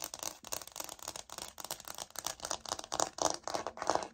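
Long nails scratch and tap the surface of a light oak laminate wood-look floor sample held upright. The result is a quick, irregular run of dry, bright scratching strokes and light clicky taps, each dying away almost at once with little low end.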